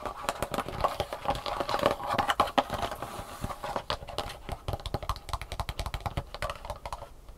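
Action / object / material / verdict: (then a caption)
tap / thin molded plastic tray / plastic / none. Long painted fingernails tap fast on the raised round compartments of an empty black, thin molded plastic sushi tray held upright. The result is a rapid, uneven stream of short, dry plastic clicks with a hollow tone around 816 Hz. Each click dies away almost instantly, and there is a faint scratchy brightness on top.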